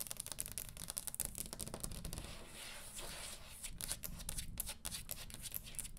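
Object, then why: Wooden table top tapped with fingernails. Long green acrylic nails on both hands tap and lightly scratch the flat surface of a large, round, solid wooden table top. Rapid, sharp, bright clicks fall in quick clusters, easing into a smoother, softer scratching stretch midway, all over a low, steady rumble.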